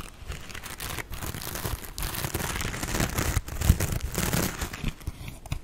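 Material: Metal mesh.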